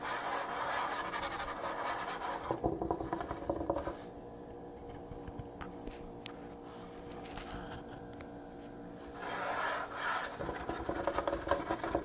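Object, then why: Wooden countertop. A wooden countertop is scratched and tapped, giving a dense, gritty scraping texture with small tapping sounds mixed in. The scratching eases into a quieter, sparser stretch midway, then picks up again toward the end.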